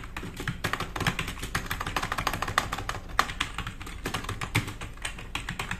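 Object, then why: Plastic mechanical keyboard keys. Fingertips of both hands type fast on a black RGB-backlit tenkeyless plastic mechanical keyboard with plastic keycaps, resting on a wooden desk. A rapid, dense stream of sharp clicky taps follows, with short bright key strikes over a low thock from each press and no ring between keystrokes.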